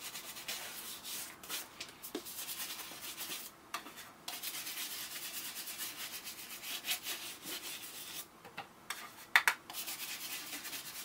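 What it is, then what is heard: Leather boot being brushed. A brown leather Thursday Boots women's President ankle boot, hollow, empty and coated in wax, is held in one hand while a small round bristle brush is rubbed and brushed briskly over its leather upper, with a second boot standing still nearby. The brushing makes a steady, dry, bright scratching hiss in quick strokes, broken by a few brief pauses and a couple of sharper ticks near the end.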